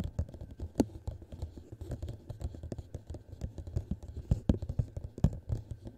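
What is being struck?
Clear plastic cup.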